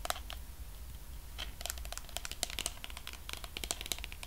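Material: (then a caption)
Plastic. Fingernails tap and scratch on the top and sides of the white lid of a medium pink plastic body cream tub. The result is a scattered run of quick, bright, clicky taps with scratchy crinkling between them, over a steady low hum.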